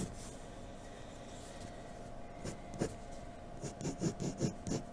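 A graphite pencil in a blue holder scratches shading strokes across a flat sheet of white drawing paper resting on a dark table. A steady, soft, low scratchy rasp runs throughout, then about five louder, brisker strokes stand out toward the end, each with a faint high hiss.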